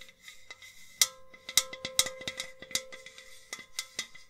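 A hollow white enamel metal jug vase is held up, tapped and rubbed with long nails. About eleven sharp, bright clicking taps land at an irregular pace over a soft scratchy rubbing, and a faint metallic tone hums beneath them.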